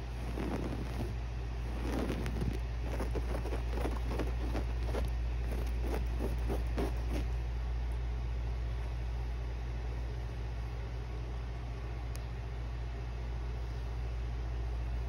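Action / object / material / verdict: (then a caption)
scrape / woven fabric upholstered cushion / fabric / none. Short painted fingernails and fingertips scratch and trace across a soft, padded cushion covered in brown and beige Greek-key woven fabric. Quick, rhythmic scratchy strokes fill the first half, then fade to faint rubbing, all over a steady low hum.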